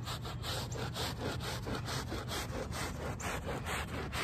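A small handheld brush with a brown back scrubs the back side of a small, wet, soapy woven rug lying on pavement. Its steady back-and-forth strokes make a rhythmic, bright, rasping swish, about two per second, over a continuous low rumble.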